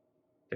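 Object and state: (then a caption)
Aluminum laptop bottom plate that sounds like plastic. A single short tap on the recycled aluminum bottom plate of an upturned ThinkPad Z13 laptop gives a brief, dull click with almost no ring. Its coating makes it sound and feel like cheap plastic rather than premium metal.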